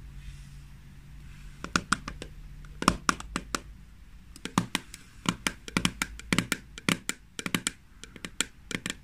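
Long fingernails tap the lid and sides of a small green plastic jar of hand cream, which is then lifted and held in the hands. The taps are sharp, dry, bright clicks with almost no ring, coming in an irregular run of quick single taps and short clusters. A faint low hum sits underneath during the first few seconds.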